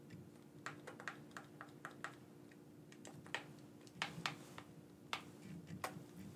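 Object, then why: Plastic game controller. Thumbs press the buttons of a black, wired, hand-sized hollow plastic gamepad held in both hands. It produces an irregular series of short, dry, bright clicks with no ring, over a faint steady low hum.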